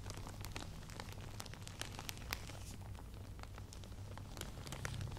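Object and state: Faux pearl beaded headband.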